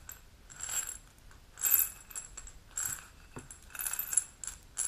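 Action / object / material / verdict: tap / glass supplement bottle with metal cap, holding capsules / glass / none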